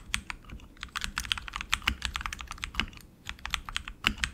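A tenkeyless RGB mechanical keyboard with tactile switches and plastic keycaps on an aluminum frame is typed on continuously with the fingertips of both hands. A rapid, uneven stream of crisp, bright clicks and clacks is heard, with a few heavier thocks standing out.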